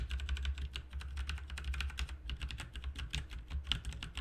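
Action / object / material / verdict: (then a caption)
tap / plastic mechanical keyboard / plastic / none. Both hands type with their fingertips on a full-size, backlit plastic mechanical RGB keyboard with plastic keycaps. There is a rapid, steady stream of short, bright key clacks with almost no ring, over a constant low hum.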